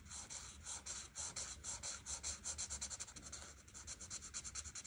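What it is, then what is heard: Marker tip rubbing on a paper sheet. A hand with red nails rubs the fine tip of a large white marker along the edges of the pattern on a thin printed paper coloring page lying flat on a table. Quick, rhythmic back-and-forth strokes make a bright, scratchy rasp that pulses steadily throughout, with a faint low rumble underneath.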